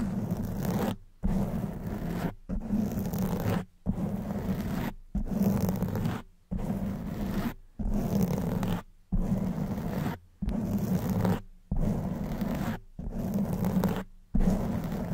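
Long white nails and fingertips scratch and brush a black foam windscreen on a silver studio microphone. About twelve bursts of dense, low, rumbling scraping, each roughly a second long, are separated by short silent gaps.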